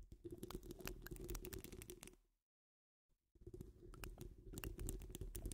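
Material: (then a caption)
Metal mesh. Long acrylic nails scratch the sides of a wire-mesh microphone grille, making dense, crackling scratches over a heavy low rumble and a steady mid-low tone. The scratching fades into silence for about a second and then picks back up just as busy.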